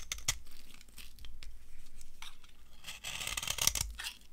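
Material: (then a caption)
Soap. A solid, dry yellow soap bar is carved with a metal knife, giving crisp, crunchy scraping and tearing strokes with bright, high crackle. Short sharp bites stand out, with a louder stretch of shaving near the end.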